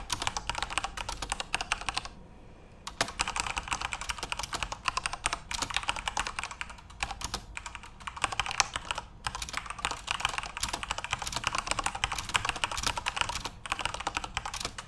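Both hands type rapidly with their fingertips on a full-size Corsair RGB-backlit mechanical keyboard with plastic keycaps. The result is a dense, bright clatter of short, sharp key clicks. The typing stops briefly for a quiet gap near the start, then continues steadily to the end.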